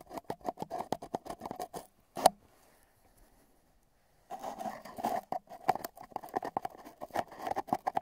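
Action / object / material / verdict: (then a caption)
tap / cardboard tube tapped at the rims with metal tweezers / cardboard / none. Metal tweezers, held at both ends, tap the rims of a long, hollow, empty brown cardboard tube wrapped with tape bands, with the microphone inside it. The taps form a rhythmic clip-clop pattern of short, hollow knocks centered around 730 Hz. A sharp, louder tap is followed by a quiet gap of about two seconds before the tapping resumes.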